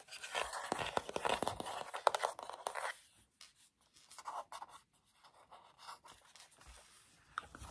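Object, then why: Plastic TV remote control with rubber buttons. Fingertips scratch across the surface of a black plastic TV remote control with rubber buttons, held up close, and press its buttons. Dense, bright scratching fills the first three seconds, then gives way to quieter, scattered soft clicks and light scrapes. A sharper tap comes near the end.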